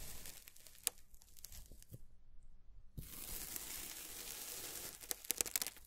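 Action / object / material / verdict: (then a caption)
scrape / kinetic sand slab cut with a plastic scraper / kinetic sand / none. A white plastic scraper blade cuts a flat, solid slab of beige kinetic sand on a white table into a grid of squares, and its plastic tip then presses small notches. Soft, bright crumbling and tearing crackles give way to a brief near-silence, then a steady, hissy scrape. The clip ends with a few sharp, crisp ticks from the pressing.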